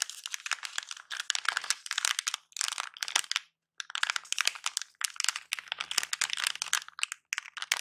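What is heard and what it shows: A small silver plastic anti-static bag wrapped around a battery is held in both hands and crinkled and squeezed with the fingertips. Dense, bright crackling comes in bursts with brief pauses between them, and the sound is almost entirely high frequencies with no low end.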